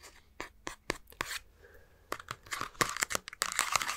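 A handheld Nintendo Switch with green and red Joy-Cons has its plastic back shell tapped and scratched with a fingertip and short nails close to the mic. Sharp, dry clicks and brief scratchy bursts come in uneven runs, bright and hissy with almost no low end. Each stops instantly, with no ring.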